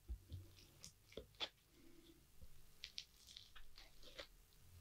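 A rounded green plastic tool presses into a flattened layer of multicolored foam-bead crunchy slime on a wooden board. It gives a series of short, sharp, bright crunches and crackles over a low background rumble, each one dying away almost instantly.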